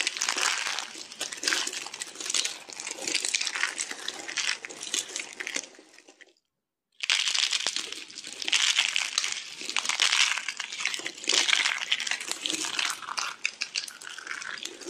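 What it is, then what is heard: Dry soap curls crushed by hand. A handful of thin, cut curls of teal bar soap, rolled into a flower shape, is squeezed and crushed between the fingers and palm of bare hands with green-painted nails. Dense, dry, crunchy crumbling and crinkling fills the clip with bright, high texture and almost no low end. It falls silent for about half a second just before the 7-second mark, then the crushing resumes just as busily.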